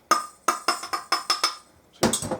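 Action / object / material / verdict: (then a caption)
tap / whipped egg whites in a bowl / egg white / hollow. Whipped egg whites for an omelette are tapped in a bowl, giving seven evenly spaced, hollow, wood-block-like knocks centred near 1.2 kHz, then a quicker, busier cluster of taps. The hollow sound comes from the air beaten into the whites and shows they are fluffy enough.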